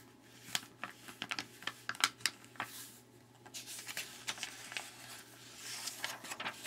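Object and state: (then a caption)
Glossy paper magazine pages. Fingertips rub and slide across the pages of an open glossy Chicago magazine lying flat on a wooden table, then turn the pages one by one. Quiet, bright papery rustles and crisp little snaps come in quick uneven bursts with softer swishing sweeps in between, each sound dying away almost at once.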